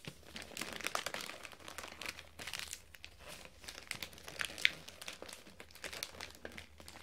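Fingertips hold and fold a sheet of metallic gold foil wrapping paper, making dense, bright crinkling and tearing-like crackles. The quiet, continuous rustle is broken by sharp snaps, with a louder crack near the middle, over a faint low hum.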